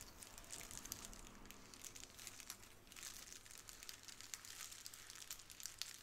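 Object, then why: Plastic bubble wrap sheet. A small, clear plastic bubble wrap square is held in both hands while long nails scratch and squeeze the bubbles. This produces a continuous, quiet crinkling and crackling that is mostly high and bright, with many tiny sharp clicks scattered throughout.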